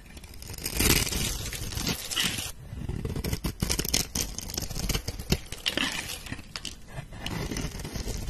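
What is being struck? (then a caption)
Bar of soap scraped with a metal knife. A metal knife blade scratches cross-hatch lines into a solid pink soap bar held by fingers with red nails, then scrapes and shaves off slices and powder. Dense, gritty scraping and crackling fills the clip, with bright crisp scratches over a low rumble and many short scraping strokes.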